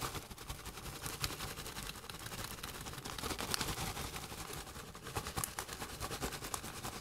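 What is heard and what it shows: A partly full Doritos metallized plastic chip bag is held up in the hands while fingers and long nails crinkle and squeeze it. This produces a steady, dense crackling and rustling with bright, sharp snaps scattered throughout, growing a little busier toward the end.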